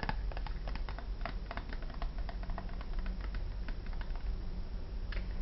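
Long dark-painted nails tap rapidly on a small, hollow, rectangular printed cardboard perfume box labeled "Red Room." The result is a quick run of light, dry clicks and patters over a steady low hum.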